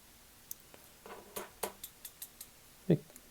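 A $5 fake Casio F-91W digital watch with a plastic case is tapped, giving a series of short, rattly, clicky taps. The clicks are dry and die away almost at once, and the watch sounds cheap.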